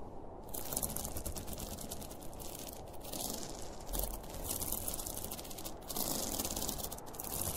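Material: Polyester fabric.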